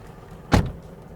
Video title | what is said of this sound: Top 5 reasons to buy the Tata Tiago (New or Used) | Well, this reassuring and solid sound of the door shutting will not be present in any other car at this price point, and Tata Motors has really done a fantastic job with the solid build quality.